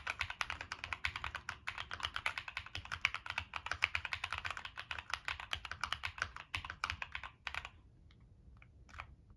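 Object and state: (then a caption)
Mechanical keyboard, metal case with plastic keycaps. Fingertips type continuously on a Monsgeek M1 mechanical keyboard with a black aluminum case, plastic keycaps and NK Cream switches. Quick, short, bright keystrokes clack in a steady run for about seven and a half seconds, then thin out to a few scattered presses before stopping.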